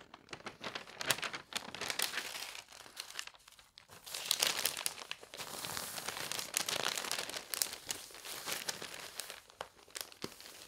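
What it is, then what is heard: Paper newspaper. An open paper newspaper lies on a bed while fingertips rub its pages flat, then lift and turn a page. Dry, bright crinkling and rustling comes in uneven bursts, with sharp crackles over a soft papery hiss and almost no low end.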